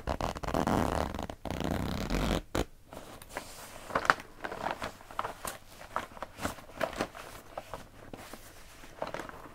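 A filled pink printed coated-fabric zip pouch has its zipper worked and its surface rubbed and pressed by hand. It opens with about two and a half seconds of dense, loud zipping and scraping, then falls quieter into a string of short, crisp crinkles and soft presses that continue to the end.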